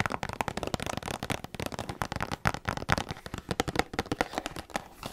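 A small printed cardboard LEGO flower set box, hollow and likely full of sealed parts, is held up close to the mic and tapped and scratched with long black acrylic nails. A quick, steady run of crisp, dry taps and clicks mixes with brief scratchy rustles, each tap fading almost instantly.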